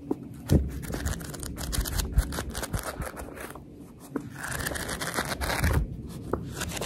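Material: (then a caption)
Paper. Long red nails rest on the fanned page edges of a paperback book, scratching them as the pages are riffled. The result is a steady papery rustle and scratch with a few louder flicks and no talking.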